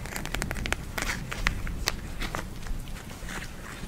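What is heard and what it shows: Long nails scratch, tap and squeeze a small purple eye mask, a clear plastic shell filled with gel beads held in both hands. The sound is a close run of quick, dry crackles and sharp bright ticks over a low rumble, with short clicks that die away almost at once.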